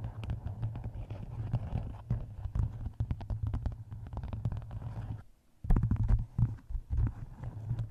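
Long nails tap and scratch the cover of a map-covered hardcover book resting on a microphone. The result is a rapid stream of deep, boomy, muffled thuds with short decays and faint scratchy texture. Near the middle the tapping briefly stops, then resumes slightly louder.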